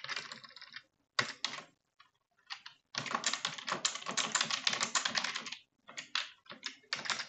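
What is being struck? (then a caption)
Plastic computer keyboard. Both hands type quickly on a full-size dark plastic computer keyboard, striking the keys with long nails and fingertips. The rapid, bright key taps come in irregular bursts separated by short pauses, with a short, dry decay.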